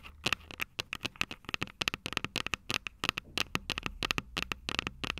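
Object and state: Fingernails tapping metal microphone capsules.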